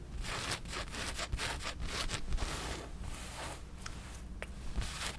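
A black cotton t-shirt with a large skull print is held against the chest while long nails scratch across the print and fabric. Quick rasping strokes repeat in a steady, zipper-like rhythm, bright and scratchy on top over a soft low rumble. The sound stays quiet and even throughout.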